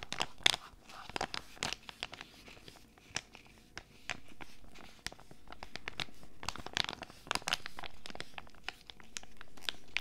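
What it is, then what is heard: Foil sachet crinkled and scratched. A small flat foil sachet holding an Animalz tiger sheet mask is held in both hands and crinkled and scratched with long red nails. Quiet, sharp, bright crinkles and scratchy clicks come in quick irregular bursts, with longer, smoother rustling swells in the second half.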